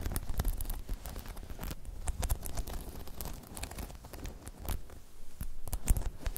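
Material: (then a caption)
Rubber. Long chrome nails tap and scratch across a hollow, spiky rubber half-dome balance pod. The clip is a quick, uneven patter of soft, dull taps with scratchy rustling in between. The sound is mostly low, with short bright clicks and a slightly louder burst near the end.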